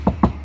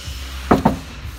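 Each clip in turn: First: car door steel panel deadened by damping mat. Second: bare steel car door panel ringing, no sound deadening.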